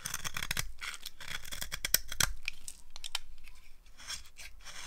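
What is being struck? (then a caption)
Bar of soap. A blade carves crunchy, curled shavings off a solid dry green soap bar held in the hand. Quick, irregular crisp scraping cuts with a bright, high crunch sound over a low rumble, some strokes sharper than others.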